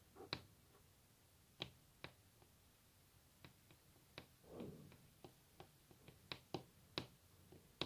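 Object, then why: Varnished wooden tabletop tapped with fingernails. Long natural fingernails tap a solid varnished wooden tabletop up close, making sharp, bright clicks at an irregular, unhurried pace with almost no ring. A soft, brief brushing sound rises midway between the taps against a quiet background.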